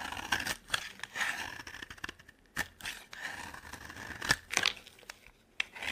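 A solid, dry orange soap bar held in the hand is scraped and cut with a metal box-cutter blade into fine shavings. Bright, crisp scraping and shaving strokes are heard, with short sharp snaps where the blade bites. The sound has little low end and a faint tone near 2.3 kHz.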